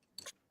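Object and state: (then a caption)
3D-printed bronze-filament coin that sounds metallic. A coin 3D-printed from bronze filament (about 80% bronze), polished in a metal polisher and nearly as heavy as a metal coin, is tapped. It gives a short, bright, high-pitched click with almost no low end that dies away almost at once. It sounds like metal and substantial.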